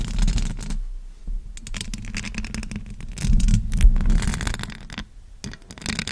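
Long acrylic nails tap and scratch the metal mesh grille of a silver USB microphone. The result is a rapid, irregular run of crisp ticks and raspy scrapes over a heavy low-frequency rumble, with brief quiet gaps between bursts.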